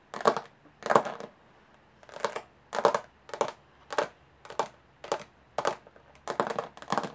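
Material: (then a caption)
Aluminum. Long nails tap quickly and scratch across the textured lid of a closed, hollow aluminum carry case. The result is about eleven short, bright metallic bursts of rapid tapping and rasping scratches, separated by brief silences, each dying away almost at once.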